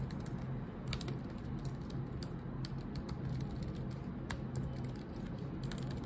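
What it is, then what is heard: Laptop keyboard tapped with long nails. Long acrylic nails tap and click on the black plastic keycaps of a laptop keyboard while typing. Quick, bright clicks sit over a steady low hum that fills most of the clip.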